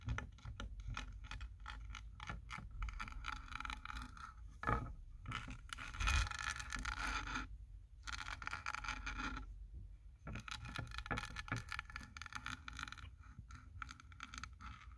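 Fingertips and short nails scratch and tap along the wood grain and plank seams of a solid, wall-mounted flat sign made of vertical wooden planks with printed text. Steady, dry scraping rasps blend with quick tapping and a constant low rumble underneath. Two brief quieter gaps break the sound near the middle of the clip.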